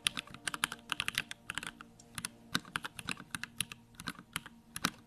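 Fingertips type steadily on a compact 65% Bakeneko65 mechanical keyboard with Durock lavender switches, pink plastic keycaps and a grey case. About 26 short, bright, clacky keystrokes sound in an uneven rhythm, each dying away almost instantly, with only a faint low thump beneath the high clicks.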